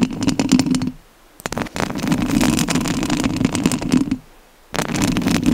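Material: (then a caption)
Metal mesh. Long nails of both hands scratch the metal mesh grille of a rhinestone-covered studio microphone, giving dense, rapid, raspy scratching with a strong low-mid rumble and bright crackle. The scratching comes in three bursts separated by two short near-silent pauses.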